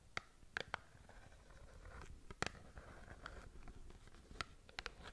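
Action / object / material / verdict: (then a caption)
scrape / small cardboard box / cardboard / none. Long nails scratch and tap a small cardboard skincare box, making quiet, dry scratching with sharp, bright clicks scattered through it. Each click stops almost at once, with no ring, over a soft low rustle.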